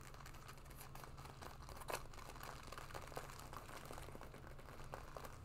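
A black leather jacket being worn is scratched and rubbed with long nails on the shoulders and collar. A steady stream of soft scratchy, crinkling rasps sits over a constant low hum, with a slightly louder rub near the two-second mark.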